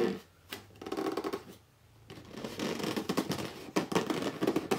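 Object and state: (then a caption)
Cardboard box scratched. Fingertips and short nails quickly scratch and rub the top and front edge of a hollow red corrugated cardboard box lying flat. Bursts of dry, papery scratching and rubbing alternate with brief quiet pauses, then build into a denser run of rapid scrapes with a few sharper accents near the end.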